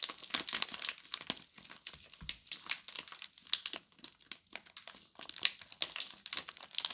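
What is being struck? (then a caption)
Plastic film wrapping around bar soaps. A pink Camay multipack of solid bar soaps, wrapped in crinkly plastic film, is held in both hands and squeezed and rubbed with long glittery nails and fingertips. The result is a continuous run of dense, bright crinkling and crackling made of many quick, sharp bursts with almost no low end, rising and falling in loudness over the seven seconds.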